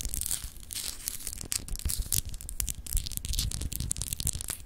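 Long acrylic nails scratch over a palm-sized solid clear glass globe paperweight with etched continents, held in the hand. A dense run of quick, dry, bright rasping strokes sits over a low handling rumble, with many short irregular bursts and almost no ring.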